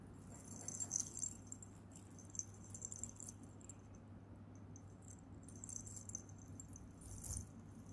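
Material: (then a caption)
Metal. A silver-tone metal chain bracelet with metal charms, a coin pendant, a gold-tone spinner and small red beads is held in both hands and jingled with fingertips and nails. Soft, bright metallic jingles and clinks come in short flurries over a steady low hum.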